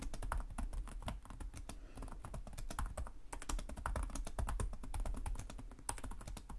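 Both hands type rapidly with short-nailed fingertips on the plastic chiclet keys of a black laptop resting on a desk. The result is a dense, steady stream of short, sharp clicks with bright edges over a low, thumping body, with brief pauses in between.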